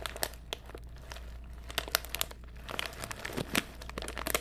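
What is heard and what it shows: A small printed foil-lined plastic snack bag, apparently sealed and holding contents, is held in one hand near the microphone and crinkled and squeezed by the fingers. It gives irregular bursts of sharp, bright crackling and crinkling over a quiet, steady low hum, with no ringing after each crinkle.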